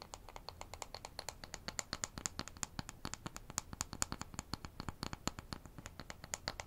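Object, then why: Thin wooden ruler. Fingernails scratch and tap rapidly along the surface of a thin, solid, light-wood toy ruler with a printed scale, held in the hands. Dozens of short, dry, bright ticks follow one another in a steady, quiet stream for about seven seconds, each dying away almost instantly.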